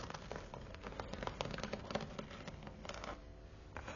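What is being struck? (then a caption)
Faux-leather book cover, tapped and scratched with fingernails. Long nails tap and scratch across the textured teal perforated faux-leather cover of a thick Bible. Quiet, rapid clicky taps mix with a continuous dry scratching rustle, each tap short and fading almost at once over a soft low rumble.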